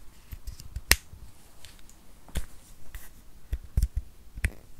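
Fingernails tap and click on a small, solid white plastic USB power adapter with metal prongs. Sharp, dry clicks with a bright edge and a soft low thump die away almost instantly, spaced irregularly over a quiet background.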